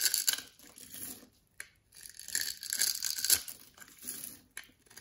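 A palm-sized, solid orange-beige bar of soap embossed "NEFIS" is held in one hand while an orange-handled box-cutter blade scores a grid into its face, so small cubes crumble off. Quiet, bright, crisp scraping and cutting rasps come in short bursts with brief pauses, with almost no low end and very little ring after each stroke.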